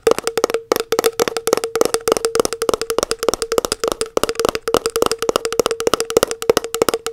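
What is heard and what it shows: Long nails tap rapidly on the labelled lid of a round plastic body butter tub held in one hand. The result is a fast, steady stream of dry, clicky taps with a hollow, woodblock-like tone around 460 Hz. Each tap dies away almost instantly.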